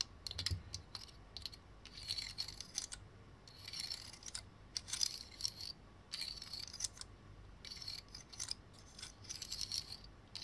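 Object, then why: Pine cone with woody scales. Fingernails scratch and flick the woody scales of a large, dark, dry pine cone held in the hands. Bursts of bright, dry, crackly scratching and quick clicks come in clusters with quiet pauses between them. Each click stops at once with no ring, and there is little low end.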